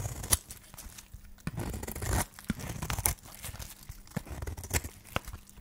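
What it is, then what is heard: Dry soap bar scraped and cut. A solid yellow dry soap bar, held in the hand, is scraped and cut with a flat metal blade, and the shavings fall onto a pile. Dry, crumbly scraping and tearing strokes mix with sharp, bright clicks and crisp crunches over a low rumble.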